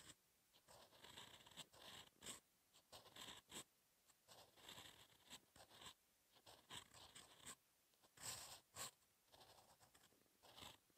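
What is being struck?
Paper sheet under a steel pen nib.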